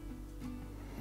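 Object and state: Nothing is struck.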